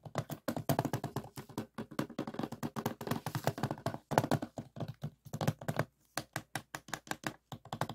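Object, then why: Hard plastic DVD case. Fingertips and nails tap rapidly on the back of a closed hard plastic DVD case lying flat. Dozens of short, dry, hollow clicks and thunks come in quick bursts. The taps are mostly low and mid in tone, with a brief pause near the six-second mark.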